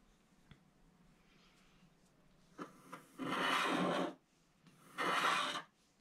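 A pointed wooden stylus scratches the black wax coating off a small, flat scratch art card with a white base and a snowman picture, which lies on a table and is held flat by one hand. A few faint ticks and light scrapes lead into two long, dry, rasping scratching strokes with bright, hissy texture, separated by a short quiet pause.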